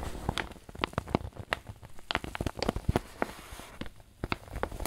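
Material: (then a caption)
Paper. A wrinkled white paper bag, apparently filled with flour, is squeezed and crinkled with both hands. Irregular sharp, dry crackles and soft pops sound over a low, muffled rustle, each snap dying away almost instantly.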